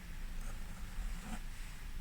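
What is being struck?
Nothing is struck.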